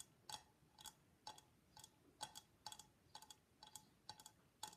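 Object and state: Hollow papier-mâché mask.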